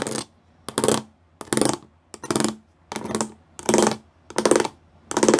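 Fingertips and nails tap the rows of small square pyramid studs on a flat grey plastic panel. The result is repeated bursts of quick, dry, clicky taps with a faint mid tone around 350 Hz and a bright, hissy top. Each burst ends abruptly, with short silences between them.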